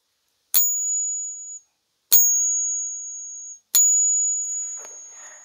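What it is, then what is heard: Silver dollar coin with a suspect ring. A BU (uncirculated) silver Morgan dollar is struck three separate times with a pocket pinger. Each strike gives a sharp tap followed by a thin, high-pitched ring that fades over about a second. The coin is rated bad, zero out of three, for its poor ring, even though its 26.9–27 g weight matches the other coins.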